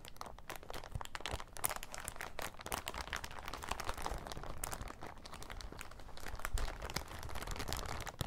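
An empty, thin, transparent, crinkly plastic bag is bunched up and crumpled with the fingers of both hands. It makes a dense, continuous run of sharp crackles and crinkles, with bright snaps over a low rustle. The level stays fairly steady throughout.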